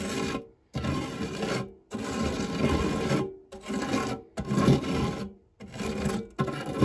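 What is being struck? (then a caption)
Metal tart tin scraped with a silicone spatula. A silicone spatula scrapes along the dark, textured nonstick base of a shallow, round fluted metal tart tin that is empty apart from crumbs. Seven gritty, rasping strokes are separated by brief pauses, with a dull, low-to-mid-heavy texture and little brightness.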